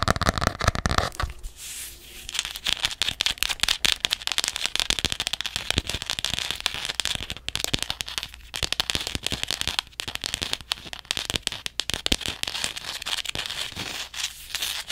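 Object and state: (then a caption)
Hardcover paper journal tapped and scratched. Long nails rapidly tap and scratch the green back and spine of a hardcover paper journal. Dense, dry, crackling clicks and scrapes run continuously for the whole clip, bright and short with no ring. Brief quieter gaps break up the steady flurry.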